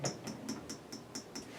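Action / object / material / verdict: tap / plastic juicer auger / hard plastic / hard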